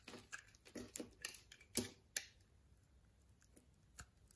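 A utility knife blade scrapes and carves thin slices and small cubes off a solid, palm-sized brown bar of soap with a cross-hatched surface, held in the hand. About eleven short, crisp cuts land at an irregular pace, each a bright, dry scrape that dies away almost instantly. The cuts are strongest in the first half and thin out against a quiet background toward the end.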